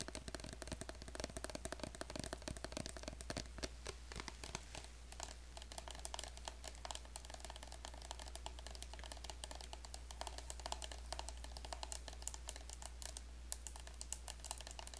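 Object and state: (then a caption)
Plastic lotion bottle. Long acrylic nails tap and scratch a small, apparently full orange plastic squeeze bottle of lotion with a black cap. Rapid, dense, bright clicks and scratchy ticks continue throughout at a soft, even level, with a steady low hum underneath.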